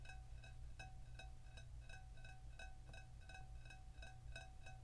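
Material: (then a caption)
Ceramic. An oval ceramic baker, a piece of cookware glazed in blue with a brown-dipped edge and fired, is tapped repeatedly. Each tap gives a short, bright ring with clear tones near 750 Hz and 1.5 kHz over a steady low hum. The baker has a nice sound.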